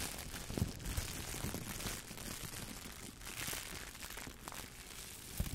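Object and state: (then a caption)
Crumpled plastic shower cap. A clear, thin plastic shower cap with an elastic band is bunched up in both hands and crumpled and rubbed with the fingertips close to the microphone. The result is a steady, bright crinkling rustle with a few soft, low bumps from handling.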